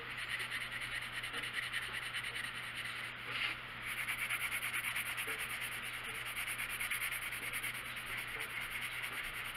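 A blue colored pencil shades a small area on the page of an open paper coloring book lying flat on a wooden table, its lead rubbing and scratching across the paper while the other hand rests still on the page. The result is a steady, bright, papery scratching hiss that continues throughout, with a brief lull near the three-second mark before the strokes resume.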